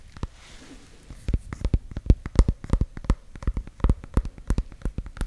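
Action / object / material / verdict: tap / small warty ornamental gourd / gourd rind / none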